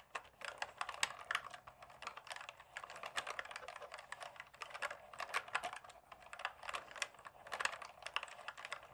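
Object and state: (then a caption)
Plastic mechanical keyboard. Fingertips rapidly tap the keys at both ends of a black plastic full-size mechanical gaming keyboard held in front of the body. A dense, continuous stream of short, bright plastic clicks and clacks runs for the full nine seconds with no low-end thump, each tap dying away almost instantly.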